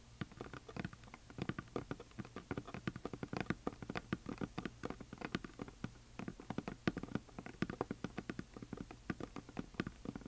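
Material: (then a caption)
Wood. Long nails and fingertips tap rapidly across the painted surface of a large, flat, solid wooden heart sign coated in glitter paint. The result is a dense, uneven patter of short, dry clicks and soft thuds that die away almost instantly, with most of the weight in the low-mid range.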